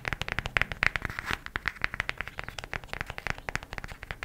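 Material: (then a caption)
Cardboard. A cardboard eyeshadow palette is tapped quickly with the fingernails, making a rapid run of about 36 short, dry clicks. Each tap is crisp and bright, centred near 2 kHz with a little low thump, and dies away almost instantly, with some taps landing louder than others.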